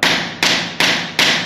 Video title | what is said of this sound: Azulejista profissional mostra como colocar piso com essa nova tecnica | não há barulho de oco no centro do piso, nenhuma parte do piso